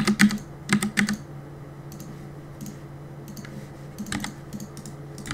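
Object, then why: Mechanical keyboard with plastic keycaps. Fingertips tap the plastic keycaps of a black mechanical keyboard, starting with a quick burst of sharp, bright clicks in the first second. Sparser, irregular taps follow over a low, steady background hum.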